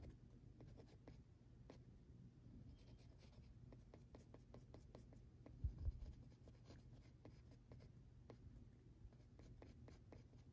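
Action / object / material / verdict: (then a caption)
scrape / pencil on textured drawing paper / paper / none. An orange mechanical pencil makes short scratchy strokes and tapping stipples on a flat sheet of textured drawing paper. Quiet, dry ticks and scrapes repeat over a steady low hum, with two louder taps near the middle.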